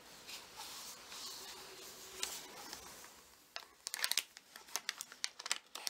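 A thin, folded parchment-style paper replica of the Marauder's Map, an insert from a book, is held in both hands and crinkled and rubbed with the fingertips, then laid on the open book page while still being handled. A soft, steady high rustle of rubbing fills the first half. It gives way to a quick run of sharp, bright crinkling crackles that stop almost instantly.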